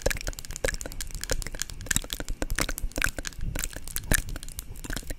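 Long nails tap and scratch the lid and body of a small, hollow white plastic cosmetic jar with a screw lid, held in both hands. A rapid, irregular stream of crisp, clicky taps and scratchy crackles runs throughout, bright on top over a low, dull rumble. Each tap is short and dry with almost no ring.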